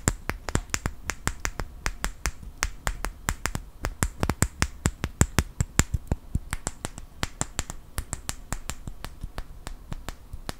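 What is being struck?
Small wooden clothespin.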